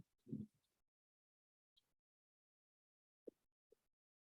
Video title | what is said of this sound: Progressive Excavation Disturbance Zone Evolution During and Post Mine-by Tunneling (PRECODE) | you hear a really Hollow sound of rock